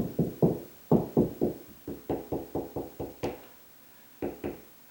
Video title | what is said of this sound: Where on Ceiling Should Ceiling Fan Go?...for Dummies | higher pitch and I can tell it's more solid right there